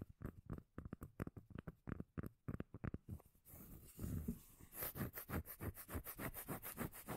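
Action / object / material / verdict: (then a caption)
scrape / round cork lid / cork / none. Fingertips and nails rub and scratch the face of a solid, round, palm-sized cork lid held in one hand. Quick, dull, bass-heavy strokes come first, then a steadier, brighter continuous scrape, and finally a run of evenly paced scratching strokes.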